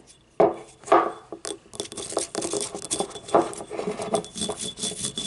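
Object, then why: Small ribbed ceramic cup. Fingernails scratch along the ribs of a small, hollow, yellow ribbed ceramic paint cup lying on its side while the cup is handled. The result is an irregular series of dry, rasping scrapes and light clicks with a hollow midrange tone and a bright, hissy edge, each stroke dying away quickly.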